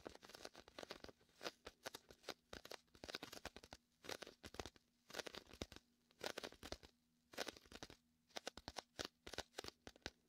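Fingertips press, peel and scratch the tacky vinyl of a large red and white inflatable PVC beach ball, hollow and air-filled. The result is clusters of quiet, bright, crackling tears and crinkles that stop short, with brief pauses between bursts. A faint low steady hum runs underneath throughout.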